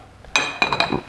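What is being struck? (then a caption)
Painting on a glass pane. A painting on glass is tapped four times, giving bright, high clinks with a glassy ring near 2.4 kHz. Each tap fades quickly.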